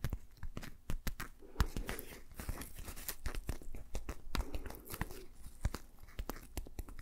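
A patterned green rubber dish glove is worn on a hand while the gloved fingers are rubbed and tapped together. The result is a quick run of sharp, closely spaced taps mixed with squeaky, crinkly rubbing.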